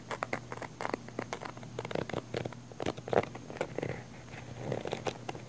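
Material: Nylon fabric.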